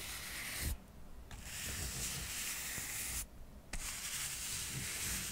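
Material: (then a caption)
Cork. A soft paintbrush is brushed along the layered edges of a small stack of solid square cork coasters, making a steady, bright, scratchy rubbing hiss. The brushing stops briefly twice, and each stop leaves a short quiet gap before the strokes resume.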